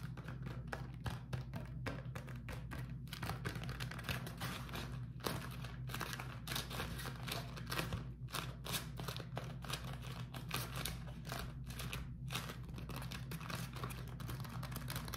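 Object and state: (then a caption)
Beeswax-coated cotton food wrap. A beeswax-coated cotton food wrap, crumpled into a bundle, is tapped, scratched and squeezed by fingertips. Dense, quick crinkly taps and scratches form bright broadband bursts over a steady low hum. The level stays fairly even across the clip.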